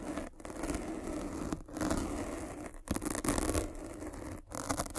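A metal-spiked derma roller is rolled across the surface of a black foam windscreen on a microphone. It makes a dense, crackly, scratchy scrape with a low rumble, broken by brief near-silent gaps between strokes.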